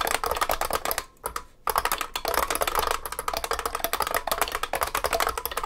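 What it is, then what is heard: Beam spring keyboard being typed on. Both hands type continuously by fingertip on a large vintage beige IBM 3278 beam spring keyboard with plastic keycaps and a metal case. Rapid, sharp, bright clacks with a ringing mid-range ping run almost nonstop, broken only by a brief pause early on.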